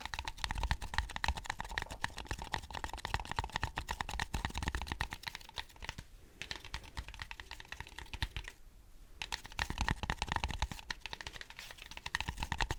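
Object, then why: Styrofoam cup. Fingertips tap rapidly on a styrofoam cup, with some taps landing over the microphone. The result is a dense stream of light, dry, keyboard-like clicks with a low thumpy body. The tapping pauses briefly around 6 and 8.5 seconds, then resumes.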